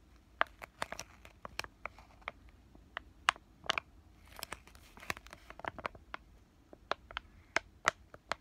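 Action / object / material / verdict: tap / laminated plastic-foil sachet / plastic foil / none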